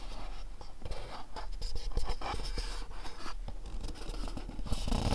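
A small, dark, printed cardboard candle box is turned over in the hands, bottom included, while fingernails tap and scratch across its faces. The result is a steady stream of dry, short taps and scratchy rubbing with almost no ring, dull and low-heavy, with a few louder taps near the end.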